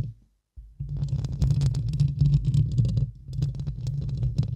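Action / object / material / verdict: scrape / steel-mesh microphone grille scratched and tapped with long nails / steel mesh / none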